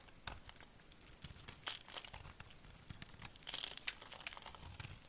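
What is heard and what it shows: A solid amber translucent glycerin soap bar, held in the hand, is scored and shaved into curls with a utility knife blade. The result is a quiet run of crisp, bright scraping and crinkling cuts with sharp little ticks and almost no low end. Each stroke stops dead with no ring.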